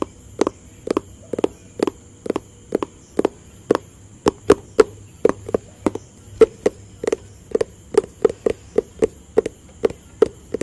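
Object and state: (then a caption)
Cardboard box tapped with fingertips. Fingertips tap a hollow white and blue cardboard product box in a quick, uneven rhythm of around thirty short, dry taps. Each tap is a soft, hollow knock with a midrange tone that stops almost instantly. A faint steady high hiss runs underneath.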